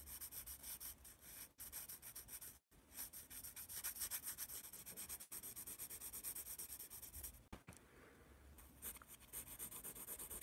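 A yellow wooden pencil shades and writes on a spiral-bound paper sketchpad held upright in one hand, its graphite scratching and rubbing across the sheet. The quiet, bright scratching runs in quick, steady strokes, broken by a few brief pauses as the pencil lifts.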